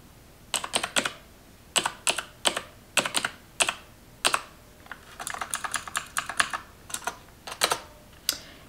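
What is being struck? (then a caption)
Plastic computer keyboard. Fingertips with long nails type and tap on the keys of a black plastic computer keyboard. Bright, clicky keystrokes come in short bursts separated by brief pauses, with a faster run of lighter taps in the middle.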